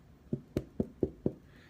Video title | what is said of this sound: No Knead Bread At Home | What you're listening to here is a hollow sound.